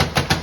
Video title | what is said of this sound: Valencia Country Club | You can tell just with me tapping on it, that sound is that laminate, thin cabinetry.